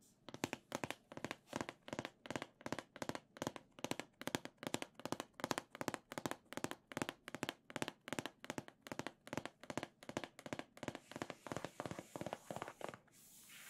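Long nails tap the narrow side of a hollow, printed cardboard Nintendo Switch Legend of Zelda OLED box held upright. The result is quick, dry, clicky taps grouped into short rhythmic bursts with a hollow midrange knock and a bright edge. The tapping stops near the end, leaving a faint soft hiss.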